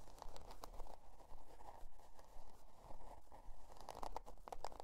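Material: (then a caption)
Cardboard. Long dark nails scratch and tap the stiff cardboard cover of a spiral-bound notebook, printed with a scale pattern and lying on faux fur. The result is a quiet, steady run of dry, crunchy scratches and soft taps, heavy in the low end, with a few brighter clicks and no ring after each touch.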